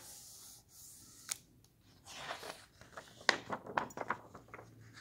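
Fingertips turn and flip the white paper pages of an open hardcover book lying on a table, at a slow to medium pace. Soft papery rustling and sliding give way to a run of crisp, bright flicks and snaps as pages fall, each ending quickly.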